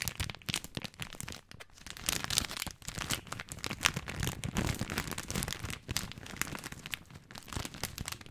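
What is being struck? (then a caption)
Plastic film bag of dry spaghetti. Fingertips tap and crinkle the plastic film of a full spaghetti bag held horizontally close to the mic. The result is a dense, continuous run of bright, crackly crinkles with soft, low taps underneath, rising and falling in loudness throughout.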